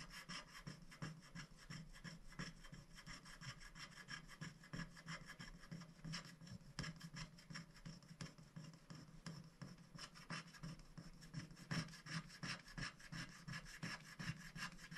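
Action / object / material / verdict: scrape / black-coated scratch-art paper sheet scratched with a wooden stick / coated paper / none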